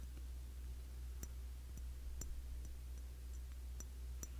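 Tapping on the glass body of a cologne bottle, a Classic Match clone of YSL Y, gives soft, bright clicking and ticking taps. The taps ring only briefly over a steady low hum that dominates the quiet recording.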